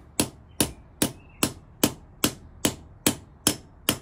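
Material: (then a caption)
Steel, brass. A steel ball-peen hammer with a wooden handle strikes the brass end fitting on top of a long, thin, hollow black steel push rod, held upright by hand on a concrete floor, to seat the fitting. Ten sharp, bright metallic knocks land at a steady pace of about two per second, each dying away almost at once.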